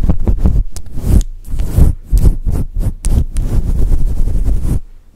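Long nails and fingertips scratch and rub a fluffy synthetic fur microphone windscreen, making a deep, muffled rumble of thumping, brushing bursts with almost no high end. The strokes run close together for nearly five seconds, then drop away to near silence.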